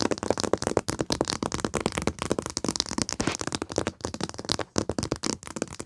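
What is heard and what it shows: Long nails and fingertips tap and scratch the printed paper cover of a flat foil paper pad lying on carpet. The result is a rapid, dense run of short, dry clicks and scrapes with a papery crackle and bright, rustling edges.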